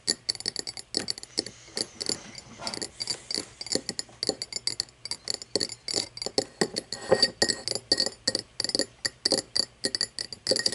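An empty, tall cut-crystal glass tumbler stands upside down on wood and is tapped on both sides with long painted nails. The result is a fast, uneven run of short, bright clicks and clinks with very little low end. Each tap rings only briefly, with a faint glassy tone around 530 Hz.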